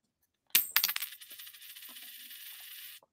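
A genuine 90% silver coin with no copper showing on its edge is dropped onto the hardest surface at hand so its ring can be heard. It strikes and bounces about four times in quick succession, then gives a bright, high-pitched ring that holds steady for about two seconds before cutting off.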